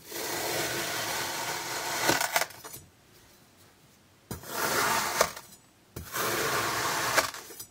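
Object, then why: Kinetic sand block cut with a thin metal blade. A thin iridescent metal knife blade slices repeatedly in parallel and diagonal cuts into a flat, solid, hand-sized rectangular slab of orange kinetic sand resting on a table. Three separate passes each give a dense, bright, crunchy cutting and scraping sound, with sharp ticks as each cut ends. Short quiet gaps fall between the passes.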